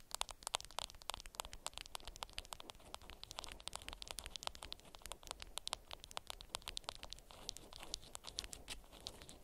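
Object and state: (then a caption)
Beeswax fabric wrap. Long nails scratch and crinkle a wrapped bundle of beeswax-coated cotton fabric, making a dense run of sharp, dry crackles and scratches. The bright clicks come rapidly with little ring over a soft, quiet hiss and faint low rumble.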